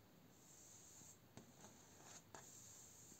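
Fingertips and short nails scratch along a large, flat, mounted, solid-backed door panel made of vertical split bamboo slats with visible nodes. A soft, steady, hissy scraping runs throughout, broken by two sharp taps on the slats.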